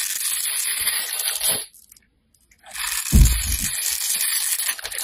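A metal blade scrapes the surface of a handheld, solid, orange translucent bar of soap, shaving off crumbs with a dense, bright, crackly scraping. The scraping stops for about a second of near silence, then resumes with a brief low thud before continuing steadily to the end.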